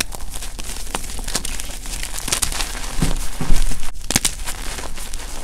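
Fingers dig into a powdery pile of gym chalk blocks (magnesium carbonate) and crush small solid pieces while one hand holds a chalk chunk. The result is a steady stream of gritty crunching and crinkling with brief bright crackles, plus a low rumble underneath.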